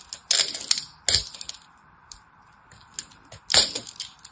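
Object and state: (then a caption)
Soap bar cut into flakes. A hand-size solid purple-and-white striped soap bar has its surface cut into flakes with a small knife, giving crisp, bright scraping and crackling bursts. The strongest bursts land near the start, around the one-second mark and at about three and a half seconds, with quieter ticks between them over a faint steady hiss.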